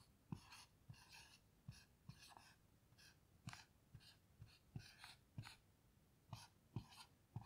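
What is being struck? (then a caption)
Dry-erase marker on a small plastic-framed whiteboard. A black dry-erase marker writes letters on a small, flat dry-erase whiteboard with a plastic frame and a grid-textured surface, resting on a table and held steady by one hand with long nails. About 13 quiet strokes are heard, each with a soft low tap as the tip meets the board and a bright, squeaky scratch and glide across it.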